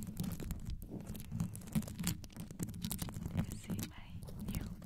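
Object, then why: Rhinestone-covered metal microphone grille. Long yellow nails quickly scratch and tap the rhinestone-studded metal grille of a black condenser microphone. The result is a dense, deep rumbling scrape with short, sharp ticks and faint bright crackles scattered over it.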